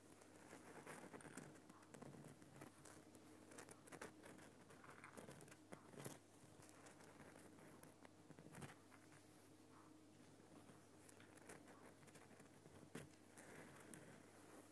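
Fingertips and nails tap the rough surface of a large, solid lump of glowing pink Himalayan rock salt in a salt lamp. The result is soft, rhythmic knocks and dry crackly patter over a steady low hum, with a few sharper knocks standing out.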